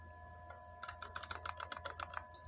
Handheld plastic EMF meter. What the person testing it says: il y a quelque chose qui bouge à l'intérieur